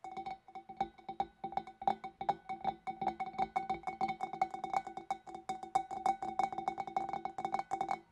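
Long dark nails tap rapidly on the rim and shoulder of a large, clear, empty, hollow glass fish bowl. Dozens of quick, light clicks come in an uneven, busy rhythm, each carrying a short glassy ring near 780 Hz with faint high overtones that fade almost at once.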